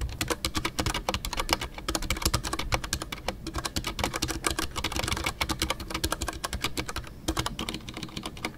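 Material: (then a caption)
Plastic. Fingertips type continuously on a full-size Ducky One 2 mechanical keyboard with a white case, MX Brown switches and custom artisanal PBT plastic keycaps. A rapid, steady stream of short, crisp clacks carries bright, clicky tops over a soft low thock, with each keystroke dying away almost at once.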